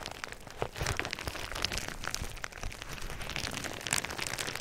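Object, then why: Plastic bubble wrap. Clear plastic bubble wrap laid over a microphone is squeezed and popped with fingers. Steady bright crinkling runs throughout, punctuated by sharp pops and crackles with short, dry decays.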